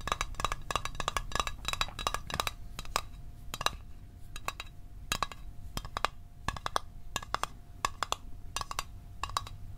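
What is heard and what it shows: Fingernails tap a small, hollow, closed blue Altoids metal tin held above the microphone, making quick, bright clicky taps in fast clusters with brief pauses between them. Each tap has a tinny ring around 1.2 kHz that dies away almost instantly, over a steady low rumble.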